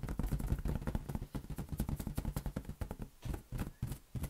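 Fingertips rapidly tap a large, hollow, air-filled green latex balloon held in one hand. Each tap lands as a short, dull, boomy thump, almost entirely low in pitch with a quick decay. The taps come in a fast, uneven run that continues for the whole clip.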